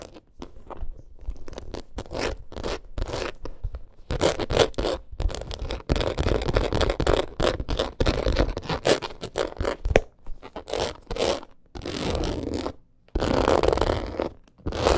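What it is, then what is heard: Embossed leather purse being scratched. Long acrylic nails scratch fast across the surface of a black crocodile-embossed leather purse. The result is a dense run of short, dry scratching and scraping strokes with brief pauses, leaving little ring.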